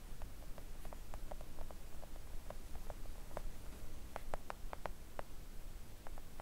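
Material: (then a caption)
Silicone. Long acrylic nail tips gently tap a flat, thin, solid pink silicone nail art mat. The result is a scattered run of soft, short, dull clicks with a mid-range tone around 600 Hz that die away almost instantly, over a steady low background rumble.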